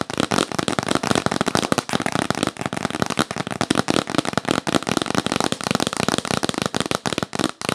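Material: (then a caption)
Cardboard. Long nails tap quickly on the lid of a hollow, yellow printed cardboard box. The result is a dense, continuous run of short, dry, crackly taps with a bright edge and almost no ring, each tap dying out right away.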